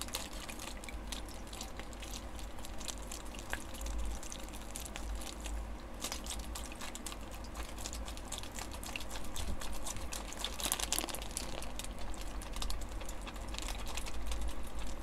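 A single small clear plastic zip-lock bag with a green seal, filled with water, is squeezed in the fingertips and shaken. Soft watery sloshes and squishes mix with quick, irregular crinkly ticks from the plastic over a steady low rumble, growing slightly louder toward the end.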